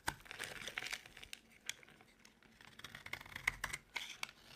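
A solid white rectangular bar of dry soap, held in the palm, is cut and shaved with a utility knife blade. Quiet, crisp scraping and crackling mix with many sharp, bright ticks as the blade bites and flakes break away. Each snap dies out almost instantly, with almost no low end.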